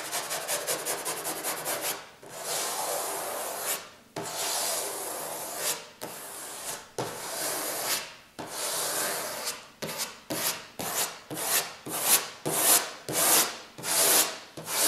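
Fingertips rub and riffle along the edges of a stack of paper pages in an open white hardcover book resting on a wooden table. A quick burst of fluttering page flicks gives way to long, bright, airy rubbing strokes. The strokes then turn shorter and more rhythmic, all dry and papery with almost no low end.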